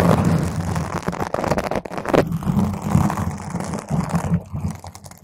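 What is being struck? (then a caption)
Foam microphone windscreen. A round purple foam microphone cover is gripped and scratched rapidly with long nails, making dense, rough crackling and rustling with a heavy low rumble. The noisy scratching bursts run continuously with brief dips, then grow softer toward the end.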